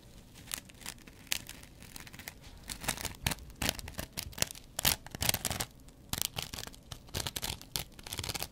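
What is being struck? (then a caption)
Kitchen sponge with scouring pad. A metal double-edge razor blade scratches across the green scouring-pad side of a hand-sized, dry cellulose kitchen sponge. Irregular bursts of dry, bright rasping and crinkly scratching come and go, some louder and sharper than others, centered around 3.3 kHz. Each stroke stops almost instantly, with no ring.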